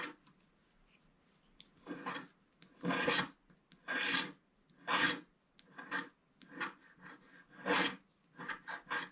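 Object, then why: Wax-coated scratch art paper card scratched with a wooden stick. A wooden stick scratches the black wax off a flat black wax-coated scratch art paper card at its lower right. Dry, raspy scraping strokes come in short bursts about once a second, spreading from low-mid up into bright highs and stopping quickly between strokes.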